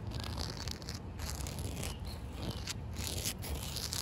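Short white nails and fingertips scratch and tap along a solid, damp outdoor concrete slab with an expansion joint. The result is a steady, gritty scraping with bright, hissy bursts over a low rumble, broken by soft, dull taps.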